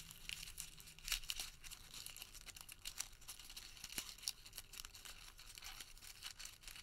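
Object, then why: Crumpled thermal paper receipt. A tightly crumpled, printed thermal paper receipt is squeezed and twisted between the fingertips of both hands. It makes a quiet, continuous, bright crinkling and crackling with a few sharper snaps.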